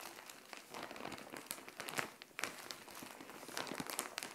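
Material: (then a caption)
Plastic. Long nails scratch, tap and crinkle a plastic Shein mailer bag filled with soft green clothing, resting on a tile floor, using both hands. Dense, dry crinkling and crisp ticking taps sound bright with little low end, and each sound stops almost instantly.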